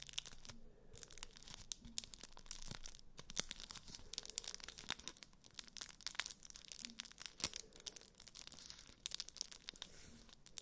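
A flat rectangular block wrapped in aluminium foil is held in both hands close to the mic while fingertips and nails scratch and crinkle the foil. The result is a dense, continuous run of bright, crackly crinkles and sharp tearing-like snaps, with energy concentrated in the high range and almost no ring after each crackle.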